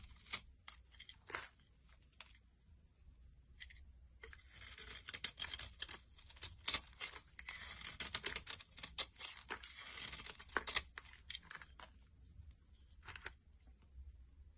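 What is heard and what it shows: A metal blade scrapes orange shavings off a solid, translucent brown bar of soap held in the hand, with its wrapper lying nearby. Soft, scattered scratches build into a denser run of bright, crisp, hissy scraping in the middle of the clip, then thin out to a few light strokes at the end.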